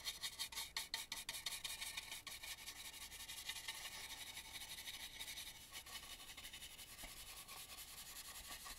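A small stencil brush is rubbed around the inside of a hollow carved, painted wooden mask, near the eye and mouth holes. Quick, bright, dry scratchy strokes come about three per second, sharper and more distinct at first, then settling into a steadier, softer rasping.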